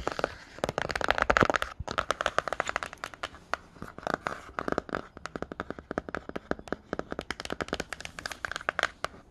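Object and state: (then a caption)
Hardcover book cover tapped and scratched. A glossy cardboard cover of a Myths hardcover picture book is tapped and scratched by fingertips and nails fitted with plastic-coated paperclips. Quick, dense clicks and dry scraping scratches run throughout, bright and crisp with little low end. The rapid tapping is louder near the start and continues in irregular bursts.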